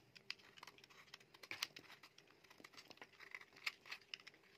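A metal utility knife blade scrapes and shaves a solid, dry, rectangular, palm-sized orange bar of soap. The result is a quiet, irregular run of crisp, bright scratches and crinkly shaving sounds with short, sharp peaks and almost no low end.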